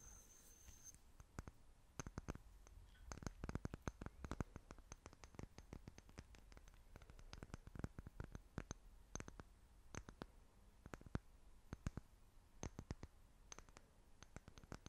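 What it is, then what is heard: Glass jar. Long fingernails tap a small, clear, apparently empty glass jar held in both hands. Many quick, dry clicks come in irregular bursts, each ending almost instantly, with a faint high ring at the start.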